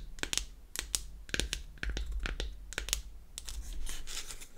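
Long acrylic nails tap and scratch the flat faces of a square, palm-sized, hollow powder compact made of unfinished beech wood. The result is a quick run of sharp, dry, bright clicks with almost no ring, then a stretch of scratchy, crinkly rasping toward the end, all over a soft low rumble.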